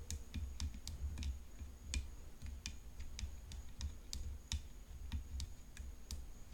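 Long fingernails tap quickly on the hollow frame of a graphite composite tennis racket decorated with rhinestones. The sound is a run of sharp, bright clicks that die away almost at once, over a steady low hum.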